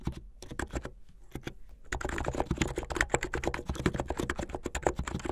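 Fingertips of both hands type fast on a white and blue plastic mechanical keyboard with LED underglow. Short, dry key clicks come in a sparser run at first, then thicken into a dense, rapid patter after about two seconds. Each stroke has a low thud body and a brighter click on top.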